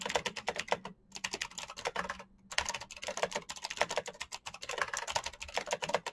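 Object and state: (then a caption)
Plastic mechanical keyboard. Fingertips tap the keys of a black plastic mechanical keyboard in fast, continuous typing. Short, sharp, bright clicks follow one another rapidly, with two brief pauses near the start. Each click dies away almost at once.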